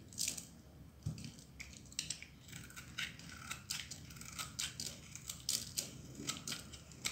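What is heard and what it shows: A metal utility knife blade cuts and shaves a solid, dry pink bar of soap held in the palm, breaking it into crumbly shards. A quick run of bright, dry crunching and scraping cuts repeats with short pauses, each one crisp and fading almost at once.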